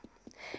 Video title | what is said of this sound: Perfect Selection: Picking the Perfect Canteloupe | if it sounds Hollow that means it is full of flavor because it's full of fluid and it's ripe